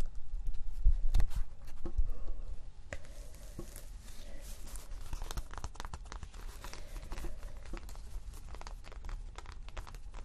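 A thin, flexible cork sheet is first bent, making louder crinkling and crackling for about three seconds. It is then laid flat, and fingernails scratch its granular surface in a steady run of quieter, dry, gritty scratches and tiny clicks.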